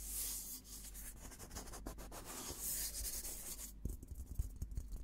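Fingertips rub and scratch across the painted dome of a hollow, olive-green steel military helmet. A steady, bright, papery rubbing hiss runs for most of the clip, then turns into sharper, separate scratches and light taps near the end.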